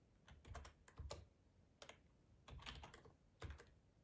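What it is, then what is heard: Plastic computer keyboard. Fingertips with short nails type on a black, hollow plastic ergonomic split keyboard resting on a plaid tablecloth. Quiet bursts of clacking keystrokes come in irregular clusters, each with a hollow low thump under a bright plastic click. The sound dies quickly between bursts.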